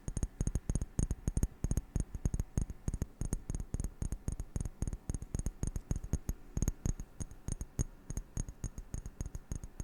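A glass object is tapped in quick, steady succession throughout, with dozens of short, dull taps. Each tap is a low, soft thud with a faint bright tick on top and almost no ring, dying away at once.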